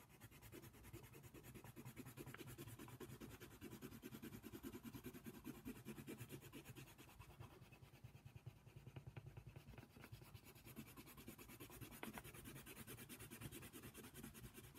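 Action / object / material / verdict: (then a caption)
scrape / colored pencil on a paper coloring page / paper / none. A hand fills in a giraffe's ear on a paper coloring book page with fast back-and-forth strokes of a brown colored pencil. The lead rubs and scratches steadily against the paper in a quick, continuous rhythm of soft, low-pitched strokes.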